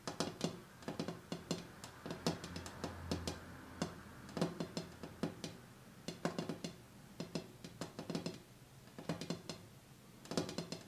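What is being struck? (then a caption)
Glass coffee table top. Fingers tap on the glass top of a coffee table that has been cleared of the items on it, done to hear whether the sound changes. Quick clusters of light, short-ringing taps come in bursts with brief pauses, each tap a bright click over a low, dull body. A faint low hum sits underneath partway through.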